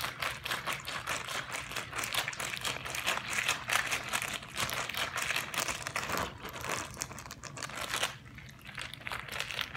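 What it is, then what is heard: Plastic zip-lock bag with water, crinkled and squeezed. A small clear zip-lock plastic bag with a green seal, partly filled with water and held in both hands, is squeezed and crinkled by the fingertips so the water sloshes inside. The result is a dense, continuous stream of bright crinkling and crackling with soft, watery squelches underneath. The sound dips quieter for a moment near the end before picking back up.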